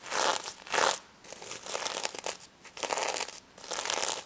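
Long red nails scratch and flip the sequins on a small, stuffed, pink sequin-covered plush pig held in the hands. The result is bursts of bright, crisp, crinkly scratching and rustling, separated by short quiet gaps, with no low end.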